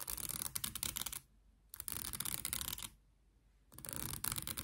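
Long nails scratch and strum the teeth of a light, solid wooden wide-tooth comb with a handle. Three bursts of dense, bright, crackly ticking are separated by short quiet gaps. The comb teeth give a dry, high rattle with almost no ring after each stroke.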